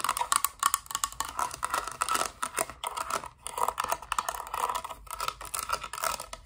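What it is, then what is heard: Plastic toy playset. A hollow, thin-walled hard-plastic Littlest Pet Shop playset piece with blue walls, an orange roof and a yellow base is held in the hands and tapped and scratched with long dark nails. The result is a dense, rapid stream of dry, clicky taps and scratchy scraping with a hollow plastic tone centered around 1 kHz and bright upper hiss. The sound fades briefly around the middle before resuming.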